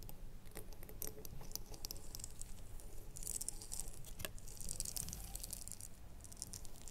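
A small red ribbed glass jar with a lid, held in both hands while long nails tap and scratch along its ribbed sides. Quiet, irregular clicks and scratchy patter with bright, crisp high-end detail over a low rumble, with no ring after each tap.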